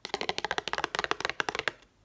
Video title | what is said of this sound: ASMR * Fast Tapping Only! * 7 Items * No Scratching * Soft Spoken * ASMRVilla | The cardboard inside sounds really nice. It doesn't have the like kind of glossy finish. It's more kind of raw.